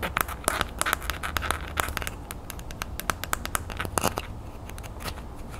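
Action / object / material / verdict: tap / small ridged plastic aerosol cap / plastic / none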